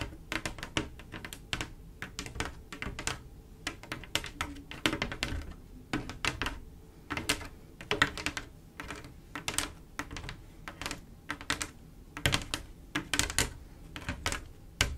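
Long acrylic nails tap quickly across a solid, large flat glass mosaic tile picture made of small silver, mirror-like tiles set in swirls. The taps come as rapid, irregular runs of short, dry, bright clicks with almost no ring, much like fast typing on a keyboard, continuing steadily with brief pauses between bursts.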